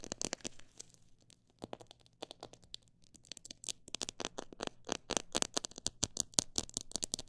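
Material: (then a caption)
Plastic. Fingertips and nails tap and scratch a clear plastic jar full of mixed bird seed, held in both hands. The result is a long run of quick, bright, dry clicks and scratchy crinkles that sparsen briefly in the middle, then grow denser and louder toward the end.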